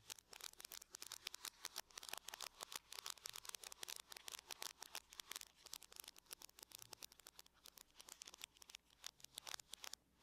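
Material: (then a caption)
Aluminum. Long nails tap and scratch across the lid of a closed silver aluminum laptop in a quick, steady stream of sharp, bright clicks. The ticks are dry and stop almost instantly, with light scraping between them and almost nothing in the low end.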